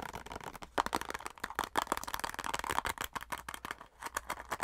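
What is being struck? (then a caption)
Plastic cosmetic squeeze tube. Long nails rapidly tap and scratch a filled white plastic cosmetic squeeze tube. The result is a fast, irregular stream of sharp, dry clicks and scratchy rasps with a mid-range, papery tone and almost no ring after each contact.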